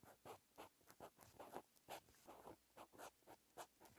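A green pen's metal tip scratches across a lined white paper notebook page while writing Korean text by hand. Short, bright scratchy strokes come in an irregular rhythm, separated by brief pauses between pen movements.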